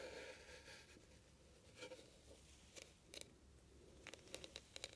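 Long nails scratch and tap across the raised oval beads on the studded, bead-covered lid of a small, hollow heart-shaped metal trinket box held in both hands. A soft, crinkly scratching hiss gives way to a series of sharp, bright clicks that die away almost instantly.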